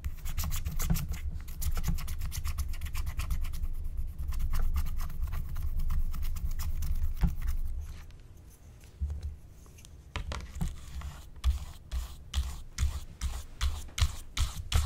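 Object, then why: Wax-coated paper scratch-art card. A flat, thin wax-coated paper scratch-art card, with a black coating over a colored layer, lies on a table, held by one hand. A hand with long painted nails scratches it with the pointed tip of a wooden stylus, making dense, rapid dry scratching strokes over a steady low rumble for about eight seconds. After a brief quieter stretch, the scratching returns as separate, sharp, bright strokes.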